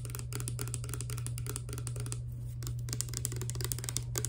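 Both hands tap rapidly with long dark nails on a small, hollow, clear plastic Fructis hair serum pump bottle holding clear liquid. The result is a dense, irregular stream of bright, clicky plastic taps with short decays, over a steady low hum.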